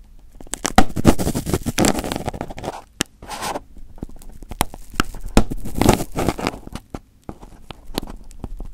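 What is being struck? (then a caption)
Aluminium foil wrapped over a microphone. Fingertips and short nails pick and pinch at crumpled aluminium foil wrapped over a microphone head, making close, irregular crinkling and crackling with sharp snaps. Dense bursts of rustle come around the second and sixth seconds, separated by brief quiet gaps. The low, muffled body of the sound sits under the brighter crackles.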